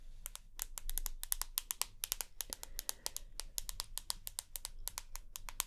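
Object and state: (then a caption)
Smartphone glass screen and aluminium edge tapped with nails. Long nails tap and scratch the glass screen and aluminium side edge of a rose gold iPhone. Quick, bright clicks come in an uneven stream, each dying away almost at once over a low background rumble.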